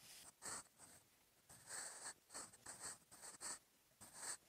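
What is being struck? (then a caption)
Graphite pencil on paper notebook page. A sharpened wooden graphite pencil held in the fingers writes Korean script on the lined paper page of an open notebook lying flat. The pencil produces short, dry, bright scratching strokes in quick bursts separated by brief pauses, with little low end.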